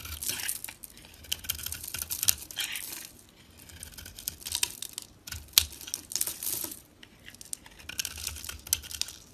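A solid oval soap bar, painted black with blue streaks and held in the fingers, is scraped and shaved with a box-cutter blade as creamy flakes curl off. The result is a bright, dry crackling and crisp scratching in quick bursts, with short pauses between strokes and a few sharper clicks.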